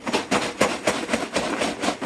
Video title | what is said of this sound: Blind Lego: Alex’s new Braille Lego set has arrived! | it does particularly make a good rustling sound